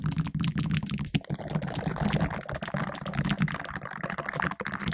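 Two green silicone finger brushes worn on the fingertips scratch and rub the round, hollow black metal mesh grille of a condenser microphone. The result is a dense, continuous stream of crackly, scratchy rustling with rapid tapping-like clicks over a low, boomy undertone around 160 Hz.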